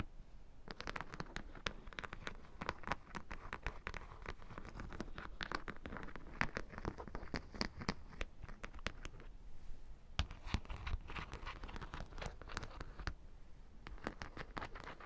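Long dark nails scratch along the row of metal studs on the top edge of a black, hollow, lip-shaped faux leather bag with a metal D-ring. The result is a dense, steady run of quick, crisp clicks and scratchy ticks with a bright edge. There is a brief lull near the two-thirds mark before the scratching picks up again.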